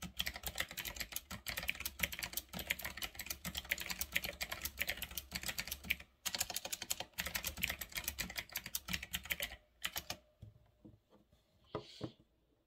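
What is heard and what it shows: Fingertips type on a full-size retro typewriter-style mechanical keyboard with round black plastic keycaps on a metal-look frame, producing a dense stream of bright, short clicky key presses. The typing slows after about ten seconds to a few sparse single key presses before fading out.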